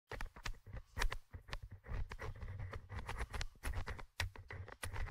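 The small, hollow metal mesh microphone grille of a Tascam DR-100mkIII handheld recorder is scratched and tapped with the tip of a thin orange stick held in the fingers. The result is a rapid, irregular run of close, dry scrapes and ticks with bright clicky edges, riding on a heavy low boomy thump from the contact.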